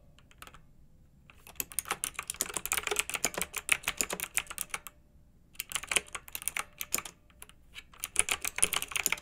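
Fingertips with long nails type on a pink mechanical keyboard with round retro plastic keycaps, blue backlighting and a hollow plastic case. Rapid, bright, clacky keystrokes come in dense bursts with brief pauses near the start and midway. Each click is crisp and dies away almost instantly.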